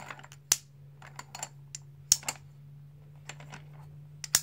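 Blue and white solid plastic composite poker chips held in the palm are riffled and stacked by fingertips, producing sharp, bright clicks at an irregular pace. The clicks are short, with almost no ring, over a quiet background with a faint steady low hum.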